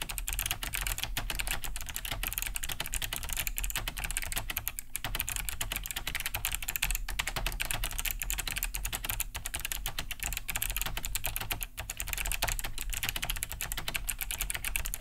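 Both hands type fast with their fingertips on a large beige Cherry G80-3000 mechanical keyboard with a hollow plastic case and thick plastic keycaps, resting on a wooden desk. A dense, steady stream of bright, clicky key-switch taps fills the clip, each short and dry, carried over a low background hum.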